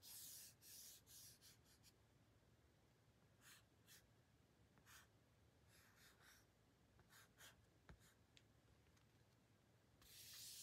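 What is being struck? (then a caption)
Thin printed cardboard card. Fingertips and short painted nails rub and scratch across the printed surface of a small, flat, thin but solid pink printed cardboard card held in the hand. The result is a series of quiet, bright, hissy scratching strokes that come in irregular bursts, with denser, louder friction at the start and end.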